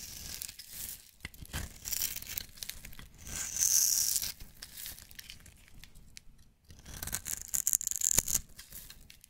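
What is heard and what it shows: A metal knife blade scrapes and shaves crumbly flakes off the top edge of a solid, hand-sized bar of green and white striped soap held in the fingers. The result is a dry, bright, crackly scratching in uneven strokes, with no ring after each stroke. It swells into longer, louder rasps around the middle and again near the end.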